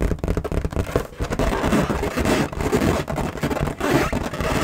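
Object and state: Latex balloon.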